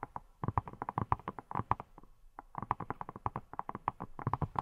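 Long nails tap and scratch a hand-sized, hollow-seeming yellow silicone pineapple-shaped brush with a textured surface. They make a fast series of around thirty short, dull, rubbery taps, each a low thump with a mid-range knock. The taps die away almost instantly, with a brief lull just before the two-second mark before they resume.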